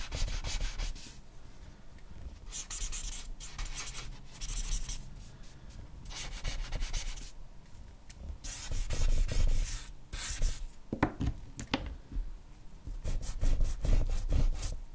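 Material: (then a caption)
Paper. A black charcoal stick is scratched and rubbed across a flat white sheet of drawing paper in firm strokes. It makes a dry, scratchy rasp that swells and fades in uneven bursts over a steady low rumble.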